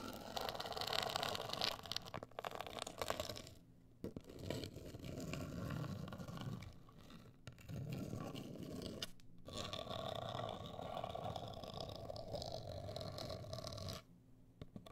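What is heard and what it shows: Long acrylic nails scratch and tap a closed, hollow, medium-sized black printed rigid cardboard cosmetic box. The sound is a dense, rasping scrape with quick crisp ticks and a hollow mid-range resonance. It is broken by brief quiet pauses near 4, 7.5, 9.3 and 14 seconds.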